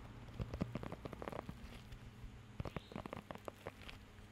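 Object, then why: Rubber grooming glove with raised nubs. Fingertips scratch and tap across the raised nubs of a blue rubber pet hair grooming glove held close to the mic. The result is a quiet, irregular patter of soft, dry taps and scratchy rubs that stop instantly, with most of the weight low and muffled and little brightness, much like rain pattering on a surface.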